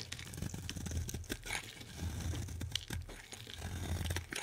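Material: Soap.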